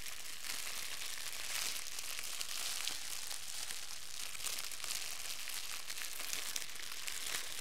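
A wad of crumpled clear plastic film is held in both hands and crinkled and squeezed with the fingers. A dense, steady stream of bright, crackly crinkling continues throughout, with small sharper pops scattered over an even level.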